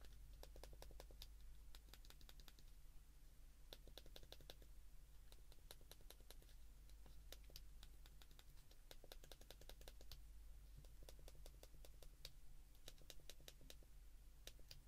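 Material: Plastic.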